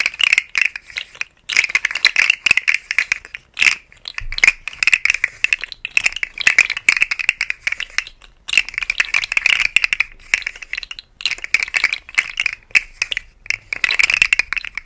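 A rainbow segmented hollow plastic articulated slug fidget toy is held upright by hand and shaken or flexed, making its segments rattle. The sound is a dry, bright clicking rattle centered near 2.3 kHz, with almost no low end, coming in bursts separated by brief pauses.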